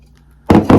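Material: Ceramic.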